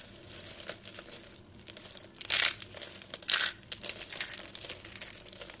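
A pile of thin pale-yellow dry soap flakes and shavings from solid, brittle soap is crushed and crumbled on a table between the fingertips and palms of both hands. It makes a steady, dry, bright crinkling crunch with very little low end, and two louder crackling bursts rise out of it partway through.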